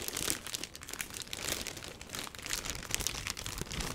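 A box wrapped in a black plastic bag is held and turned in the hands while fingers squeeze and rub the crinkly plastic wrap. The result is a continuous, bright crinkling and crackling that swells and fades over the four seconds, with dense quick crackles and little low end.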